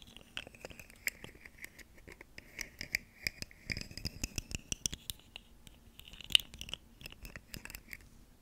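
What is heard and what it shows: A ribbed, segmented plastic fidget slug toy with hollow segments is held in one hand while long nails on the other hand scratch and click along its ridges. Dry, bright scratching and many sharp, quick clicks come in uneven bursts, with a hissy band near 3 kHz and very little low end. The loudest click lands near the middle of the second half.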